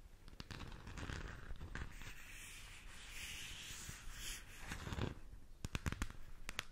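Long nails rub and scratch across the surface of a hollow plastic galaxy moon lamp. The result is a steady, dry scratching hiss with a bright upper edge over a low hollow rumble, broken by sharp clicks and taps that grow more frequent toward the end.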